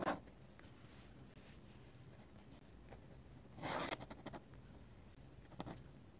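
A metal-nib dip pen draws and scratches curved ink lines on the white paper page of an open sketchbook. Soft, dry scratching strokes rasp over a faint steady hiss, with brighter, louder scrapes near the start, in the middle and toward the end.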